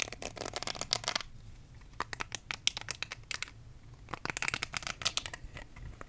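Fingertips and nails scratch and rub the soft-nubbed bristle side of a small, round, pink silicone facial cleansing brush close to the microphone. The result is a dense run of bright, crackly scratching bursts in an irregular rhythm, with briefer quieter pauses between flurries.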